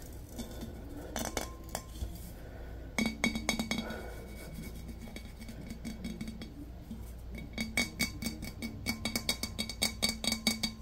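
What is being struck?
Glazed ceramic vase.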